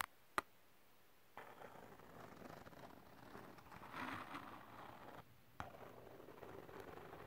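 A hand-held wide white plastic comb is scratched and raked with its teeth across a flat sheet of glitter cardstock. After a single sharp tick and a quiet pause, a steady gritty rasp runs for several seconds and swells louder midway. It then stops briefly and resumes with a sharp scrape that continues to the end.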